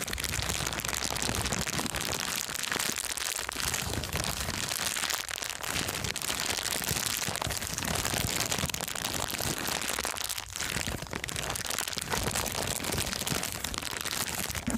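A thin, empty, transparent plastic bag is scrunched and squeezed in both hands. It makes a continuous, bright crinkling and crackling at a steady level, with brief softer dips around 3, 5.5 and 10.5 seconds.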